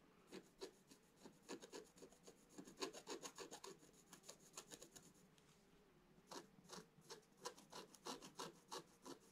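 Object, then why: Scratch-art paper page scratched with a wooden stylus. A wooden stylus scratches repeated short strokes into the black coating of a scratch-art page in a book lying flat. The result is a quick, uneven run of dry, rasping scrapes with a bright hiss, pausing briefly partway through before the strokes resume.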